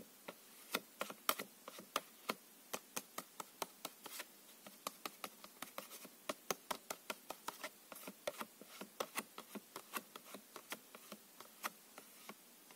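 Two single thin plastic-coated paper playing cards, held in the hands, are flicked and tapped together at their edges with the fingertips. The clip has about 41 sharp, dry clicks at an irregular pace. Each click is a very short, bright snap with almost no low end and no ring, over a quiet background.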